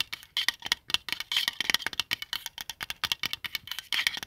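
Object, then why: Small plastic compass. Fingertips rub and scratch the printed face and cover of a palm-sized white plastic qibla compass resting on a blanket. The clip is a dense run of quick, dry, bright scratches and taps with almost no low end and almost no ring. The strokes come in irregular bursts that keep overlapping.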